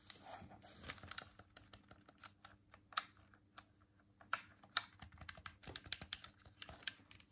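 A hand-sized, hollow white plastic Dreamcast controller is held in both hands while the thumbs click its face buttons and D-pad. The result is a quick, irregular run of short, dry, bright plastic clicks with almost no ring, over a faint steady low hum.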